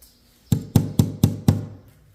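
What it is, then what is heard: Glass window pane. Five knocks on a glass window pane in a 70-year-old house, checked during an inspection of broken windows. Each knock is a short, dull, low thud, and the sound confirms the pane is glass.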